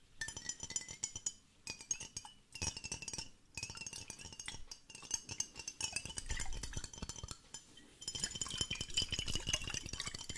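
A glass water hourglass, two glass bottles joined by a black connector and partly filled with green liquid, is held in both hands and tilted and flipped so the liquid runs between them. Quick, bright glassy clinks and rattles come in dense bursts with short pauses, over a faint bubbling low rumble.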